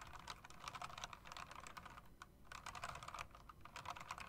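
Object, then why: Mechanical keyboard with round plastic and metal-rimmed keycaps. Fingertips and long nails type on an RGB mechanical typewriter-style keyboard with round plastic and metal-rimmed keycaps, striking the keys and the space bar. Rapid, quiet clicks with bright, short-lived attacks come in bursts, with a brief lull near the middle.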